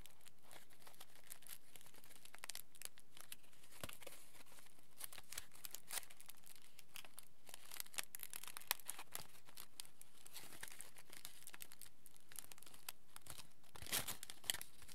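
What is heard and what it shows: Fingers unfold a small crumpled piece of aluminium foil, making quiet, dense crinkling and crackling with bright, sharp ticks scattered irregularly throughout. A slightly louder burst of crackles comes near the end.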